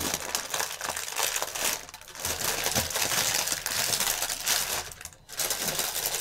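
A strip of clear plastic air-cushion packaging film is pinched and twisted in one hand while the other hand presses the film flat. This produces dense, bright, continuous crinkling and crumpling, with brief quieter dips near two seconds and again just after five seconds.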